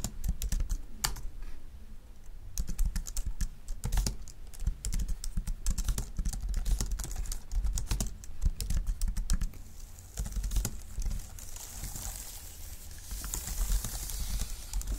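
Both hands type with their fingertips on a full-size dark keyboard with plastic keys and a wooden or plastic frame, resting on a wooden desk. The typing makes a steady stream of rapid, short key-tapping clicks over a low, constant rumble. A brighter hiss builds in toward the end.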